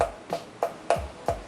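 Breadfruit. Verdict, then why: Hollow. Five hollow knocks on a mature breadfruit ('ulu), each a short wooden, block-like tap with a ringing tone around 680 Hz that fades in about a tenth of a second. The hollow, football-like sound shows the fruit is mature enough to harvest, alongside its green skin turning lighter and white sap coming out.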